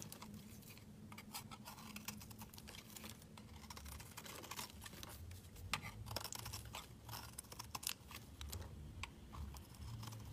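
A metal utility knife blade shaves thin curls off a solid, palm-sized oval pink bar of soap held in the hand, in a quiet scraping and carving action. Rapid, crisp, dry scrapes and bright crackles come in dense, irregular bursts, each dying away almost at once, over a steady low hum.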